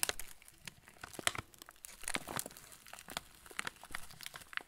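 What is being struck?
Plastic film cracker packet.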